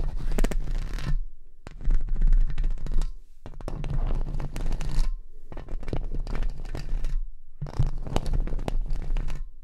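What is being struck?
Metal wire-mesh microphone grille.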